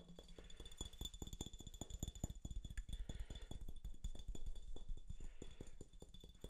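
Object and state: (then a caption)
Glass bottle tapped with fingernails. Fingernails tap rapidly and unevenly on a hollow, mostly empty clear glass Topo Chico mineral water bottle with a yellow label, held close to the mic. The result is a quick, busy run of short, dry clicks with a soft low thump under each tap and almost no ring, over a faint steady high tone.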